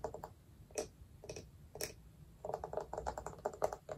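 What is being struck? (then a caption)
Small wooden jar with lid. Long nails tap on the lid and side of a small, round, hollow wooden jar with a lid. The taps are quick, dry and clicky with a hollow mid-pitched tone, some brighter flicks, and almost no ring. A few scattered taps in the first half give way to a faster, denser run of tapping.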